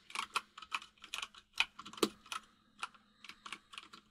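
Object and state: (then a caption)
Mechanical keyboard with plastic keycaps. Both hands type rapid fingertip taps on a white full-size mechanical keyboard with plastic keycaps resting on a desk. Fifteen sharp, bright, clacky keystrokes land in an uneven rhythm, each dying away almost instantly over a faint steady low hum.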